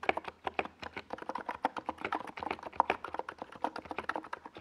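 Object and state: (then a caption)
Plastic mechanical keyboard typing. Fingertips of both hands type fast on a NiZ Plum Atom 68, a compact 68-key plastic mechanical keyboard with a white plastic case and purple and yellow Domikey Gas Attack SA plastic keycaps, resting on a desk pad. About thirty rapid keystrokes give short, dry, midrange clacks with almost no low end and no ring, blending into a steady, quick typing patter.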